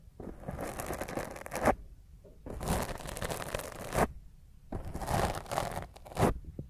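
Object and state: Foam microphone windscreen being scratched.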